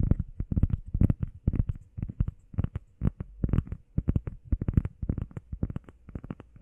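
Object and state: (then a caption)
EVA foam pad, tapped and scratched. Long painted nails and fingertips tap and scratch quickly on a solid, hand-sized, flat grey textured EVA foam workout pad shaped like a heart. Rapid clusters of dull, low, muffled thuds come with almost no brightness, each one dying away instantly, in uneven bursts with short pauses between them.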